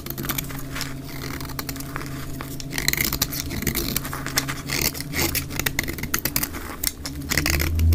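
A utility blade repeatedly shaves an olive-green dry soap bar that has been cut down to a wedge, with crumbs falling onto a pile of shavings, played at 2x speed. Rapid, crisp scraping strokes run continuously over a steady low hum, growing louder toward the end.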